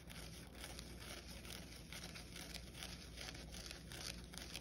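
Fingernails scratch along the green scouring pad and its edge on a soapy yellow foam kitchen sponge held over a white bowl. The result is a steady, dense scratchy crackling with bright, hissy texture over a low background rumble, continuing without clear pauses throughout.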